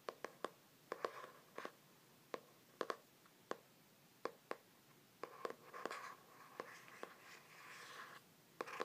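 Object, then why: Laminated hardcover journal cover. Fingers and nails tap rapidly on the front cover of a glossy laminated hardcover journal with a stained-glass print, held in both hands. About twenty short, quiet, sharp clicks come in irregular bursts, with soft papery scratching and rustling between them.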